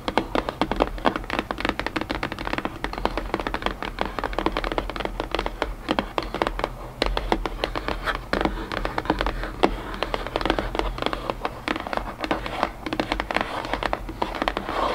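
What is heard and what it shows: Long painted nails tap rapidly and continuously on the flat, face-up top of an empty, hollow white cardboard box, with a tray of puzzle pieces sitting untouched beside it. Each tap is a short, dry, hollow knock that dies away almost at once, over a steady low hum.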